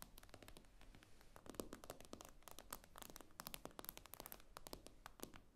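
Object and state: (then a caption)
Glass tablet screen tapped with nails. Long acrylic nails tap rapidly on the glossy glass screen of a tablet lying flat on a table. The result is a dense run of quick, sharp, bright clicks with very short decay over a quiet low background.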